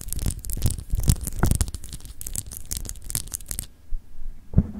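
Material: Glass.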